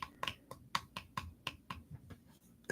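Nine light taps on a moisturizer lotion bottle, each a short, bright click with a hollow tone around 1 kHz that dies away almost at once, spaced unevenly with quiet gaps between them.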